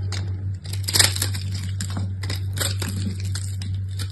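A utility knife blade shaves and crumbles the surface of a small, solid purple soap bar held in the hand. Crisp, bright crackling and crumbling scrapes come in quick bursts over a steady low hum near 98 Hz, with the loudest flurry about a second in.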